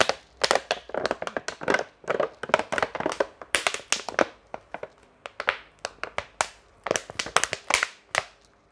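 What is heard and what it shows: Long painted nails tap and scratch the red cap and body of a large, clear, hollow PET water bottle that is partly filled with water, while squeezing makes it crinkle. The result is a dense run of sharp, dry clicks and crackling crinkles, bright and quick to fade, with almost no low end.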